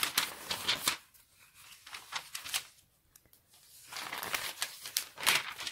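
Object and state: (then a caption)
Paper catalogue pages being turned. A large, thick 1994 Argos printed catalogue lies open on a wooden table while fingertips riffle, turn and flip its glossy paper pages. Bright, crisp crinkling and papery flicks come in bursts, with a quieter stretch of soft rustles in the middle before the page turns grow louder again.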